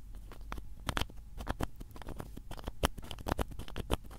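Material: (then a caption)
Plastic. Fingers twist the cap of a small blue plastic bottle, held in both hands, open and closed. A quick, uneven series of short, dry clicks and scratchy ticks comes through, each dying away almost instantly over a soft low rumble.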